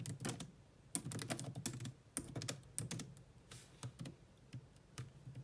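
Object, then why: Laptop keyboard, plastic keys. Long nails and fingertips type rapidly on the black plastic chiclet keyboard of a grey laptop. The sound is a continuous run of short, clicky key taps with a low thud under each press and bright clacks on top, coming in quick bursts separated by brief pauses.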